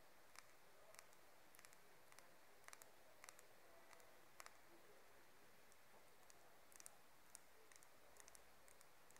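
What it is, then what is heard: Wooden comb. Long nails tap and run along the teeth and spine of a light wooden hair comb that has both wide and fine teeth. Soft, sparse, bright clicks and ticks sound over a faint steady hiss, with scattered quick taps throughout.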